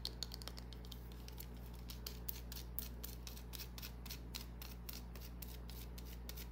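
Long nails tap and scratch a small, solid green bar of soap held in the palm. The result is a quick, irregular run of bright, dry clicks and short scrapes over a steady low hum.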